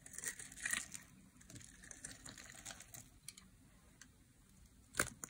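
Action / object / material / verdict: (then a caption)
scrape / bar soap shaved with a metal blade / soap / none. A solid oval green bar of dry soap, held in the hand, is grid-scored and shaved with a metal blade, and crumbs fall away. The scraping gives a steady run of crisp, crinkly, bright scratches with a few louder bursts near the start and a sharp snap toward the end.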